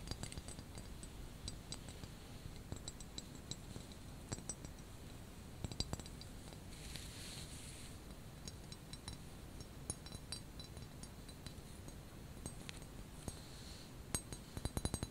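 Long painted nails tap the exposed spout and handle of a small, hollow white ceramic teapot with a grey knitted cozy over its body, held in both hands. Quiet, sharp clicks and bright little clinks die away almost instantly over a low, steady rumble. A quick flurry of taps comes at the very end.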